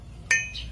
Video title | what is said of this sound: Perbedaan BAJA RINGAN DAN ALUMINIUM ---- Hendra Menjawab | suaranya sama-sama nyaring ini jenis baja